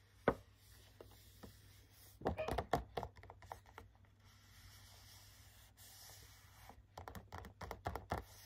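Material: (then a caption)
Cardboard. Fingertips with short nails tap and scratch the front of a medium cardboard retail gift box with a clear plastic window, holding three hand cream tubes. A sharp tap is followed by scattered light taps, then two bursts of quick, dry clicks with soft, hushed scratching in between.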